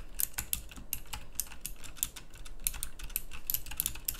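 Continuous fingertip typing on a full-size pink mechanical keyboard with round plastic typewriter-style keycaps. Rapid, bright, clicky keystrokes with a short ring sound over a low background rumble.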